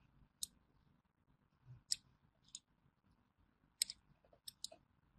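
A small thin metal blade scores crosshatch lines into a solid orange bar of hand soap held in the hand, scratching and cutting through it. Seven short, bright, crisp clicks snap out at irregular intervals over a quiet background, each dying away almost instantly.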